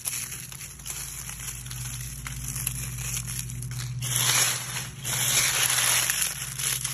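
A hand gathers a handful of dry brown oak leaves from a pile on grass, crumples them in the fist and scrunches the pile with the fingers. Dense, bright crinkling and crackling runs throughout over a faint low steady hum, growing louder and fuller from about four seconds on.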